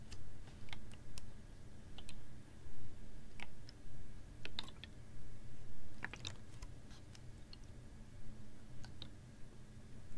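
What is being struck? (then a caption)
Ribbed plastic water bottle with a little water. A hollow, clear ribbed PET water bottle with a little water inside is held horizontally in both hands and tapped and squeezed with long nails. Sharp, bright, irregular clicks and crinkles sit over a steady low rumble, with the loudness rising and falling in soft swells.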